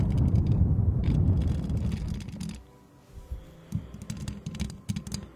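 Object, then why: Metal mesh microphone grille. Long acrylic nails rapidly scratch and tap the hollow metal mesh head of a white microphone while both hands cup the grille. A dense, muffled, low rumbling scrape fills the first half, then fades to quieter, sparser crackling taps with brief bright clicks.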